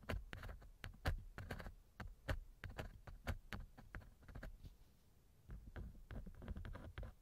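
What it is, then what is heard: Silicone ear of a binaural microphone being scratched. A thin wooden earpick held in the fingers scratches inside the right ear canal of a small hollow silicone ear model on a binaural microphone. Soft, irregular scratches and rubs come with muffled low thumps and brief bright clicks. A near-silent pause falls in the middle before the scratching resumes.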